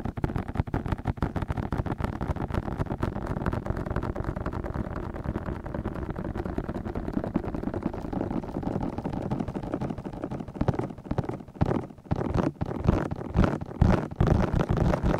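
Fingertips from both hands cup and tap the soft, hollow white silicone ears of a 3Dio binaural microphone, a black metal box on a tripod. The tapping makes a dense stream of deep, muffled thumps and rustles with almost no high end. In the last few seconds it turns into sparser, louder, more separate thuds.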